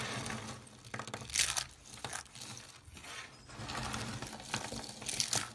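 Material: Dried soap.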